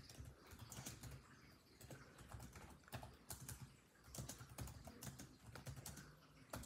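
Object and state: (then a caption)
Plastic laptop keyboard. Fingertips of both hands type rapidly on a built-in laptop keyboard with dark plastic chiclet keys set in a grey laptop body. The quick, uneven bursts of key taps have a soft, low thud under each short, bright click, and each tap dies away quickly.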